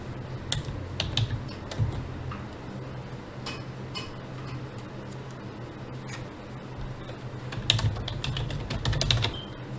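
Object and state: Plastic computer keyboard.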